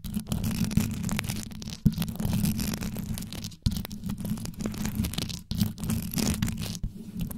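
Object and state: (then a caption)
Rhinestone-covered microphone grille, scratched. Long yellow acrylic nails on both hands scratch fast over the rhinestone-covered metal grille of a desktop USB microphone, whose hollow grille head is lined with rows of small multicolored rhinestones. The result is a dense, continuous scratching with a deep, boomy low rumble, bright gritty edges, and a few sharper clicks. It pauses in brief silent gaps before resuming.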